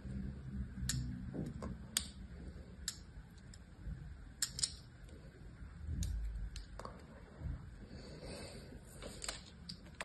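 A palm-sized, solid green bar of dry soap with a criss-cross scored pattern, held in one hand, is scratched and scored by the thin metal blade of a carving tool. Quick, dry scraping clicks with bright, high edges sit over a low, steady rumble, with about a dozen sharper strokes standing out. Each stroke dies away almost at once.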